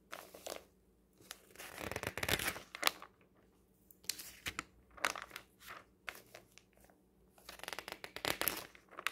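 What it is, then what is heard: Paper magazine pages. Fingertips turn and brush the pages of a thin printed paper magazine lying open on a table. Soft, bright paper rustling and flapping comes in several bursts of crisp crinkling, separated by quiet pauses.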